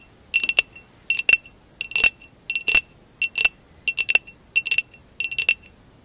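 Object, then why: Textured glass vase. Long acrylic nails tap and scratch the sides of a hollow, empty amber textured glass vase lying on its side. Eight short clusters of quick, bright, high clinks are heard, each with a faint glassy ring near 2.7 kHz. The ring dies away almost immediately, leaving quiet gaps between the bursts.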